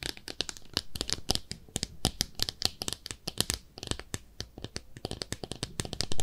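Long nails scratch along the side of a small pink speckled ceramic bathtub-shaped soap dish, producing dozens of quick, dry, bright scratching ticks with no ring. The strokes come in a rapid, uneven rhythm, and the last one at the end is the loudest.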